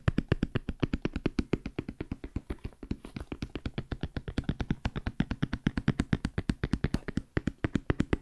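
Fingertips rapidly tap a large, hollow black JBL hard-shell headphone case with a molded EVA/fabric-covered shell. About 68 quick, dull, low thumps come in a steady, even rhythm over eight seconds. Each tap stops dead with almost no ring or bright edge.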